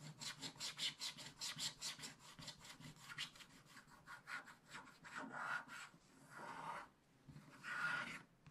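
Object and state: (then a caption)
Scratch-art paper scraped with a wooden stylus. A wooden stylus scratches the black coating of a scratch-art paper page in a spiral book while the other hand holds the book steady. Quick, bright, rasping strokes repeat in a fast, uneven rhythm, then give way to a few longer, smoother scrapes. The sound stays soft and close throughout.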